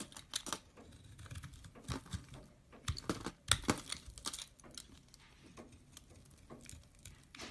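Fingers crumble and break flakes off a partly cut solid green soap bar, making a string of quiet, dry, crisp crackles and crunches. The snaps are short and bright, with little low rumble.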